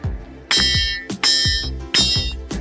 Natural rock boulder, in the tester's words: કેવો અવાજ આવે છે આવશે ને ઝાલર જેવો અવાજ